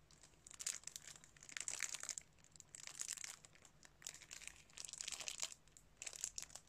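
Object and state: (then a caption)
Cellophane-wrapped plastic DVD case. Fingertips crinkle and rub the thin cellophane wrap on a plastic DVD case that is still sealed and held in both hands. Quiet, bright, crackly crinkling comes in several short bursts separated by near-silent pauses, with almost no low end.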